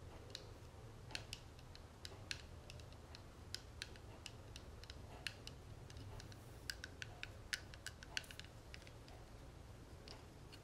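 Long nails tap the ribbed edge and front of a small, closed, hollow gold-tone metal cigarette case with a tortoiseshell-pattern panel, held in the palm. Irregular, sharp, bright clicks with almost no ring sound quietly over a steady low hum.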